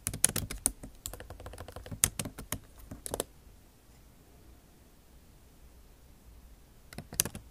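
Long acrylic nail tips type on the low-profile plastic keycaps of a backlit MacBook Pro keyboard set in a silver aluminum body. A quick run of sharp, bright clicking taps fills the first three seconds, then it goes quiet for a few seconds before another short flurry of clicks at the end.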